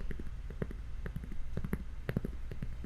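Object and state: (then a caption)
Cork coaster. A cork coaster shaped like a slice of bread is tapped repeatedly, giving soft, dull, low thuds with almost no ring. The taps come in an uneven rhythm over a steady low background rumble.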